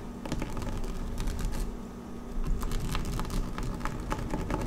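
Long nails scratch across a flat dark blue woven PVC placemat lying on a table, making a quick run of dry, bright scratchy ticks and clicks. The taps come in uneven bursts over a steady low hum, and each one dies away almost at once.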